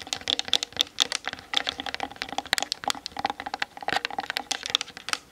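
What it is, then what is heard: Hollow plastic camera body. Long nails tap quickly on the top and sides of a Canon DSLR's hollow plastic body. About 29 rapid, bright, dry clicks come in irregular bursts, each stopping almost instantly with no low end.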